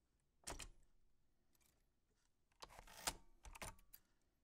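White-gloved fingertips press the round keys of a black 1940s Smith-Corona portable typewriter with a metal body and paper loaded. Scattered sharp key clicks and typebar strikes snap out with bright high-frequency crackle and die away almost instantly, separated by quiet gaps.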